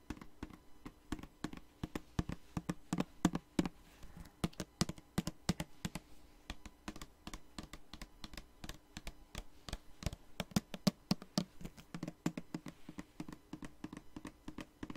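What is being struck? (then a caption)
Plastic spray bottle. A tall blue plastic body mist spray bottle with a gold pump, filled with liquid, is tapped rapidly with long nails for about 15 seconds. The dozens of short, dry clicks and taps come in quick bursts, each with a soft, low, hollow knock beneath a light clicky top.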